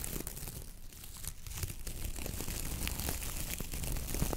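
Long nails and fingertips flick and scratch through the stiff coir bristles of a coconut fiber dish brush head. The result is a dense, continuous crackling rustle with many quick, irregular bristle snaps layered over a heavy low rumble, growing slightly louder over the clip.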